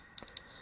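The bent metal split-arrow pocket clip on a Benchmade 580 Barrage folding knife, tip-up carry only, no longer sits tight against the handle and taps against it as the knife goes in and out of a pocket. Two short, bright, high metallic clicks with almost no ring stand out over a faint background. The loose clip leaves a visible gap from the handle, which is why it rattles.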